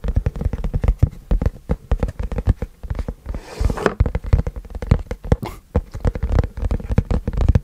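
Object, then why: Cardboard box. A long, flat white printed cardboard keyboard box is held in both hands and tilted while fingertips tap and scratch its face and edges. Rapid, dull, low thumps with almost no ring run throughout. Brief scratchy swishes break in around the middle and again near the five-and-a-half-second mark.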